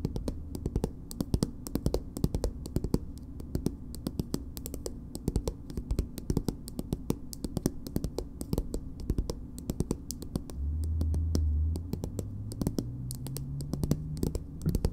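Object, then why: Small soft plastic cosmetic tube. Long nails tap and scratch the back of a small, soft plastic BB cream tube with printed text. The result is a steady stream of quick, dry, light clicks over a low background hum, with a louder low tone swelling briefly near the end.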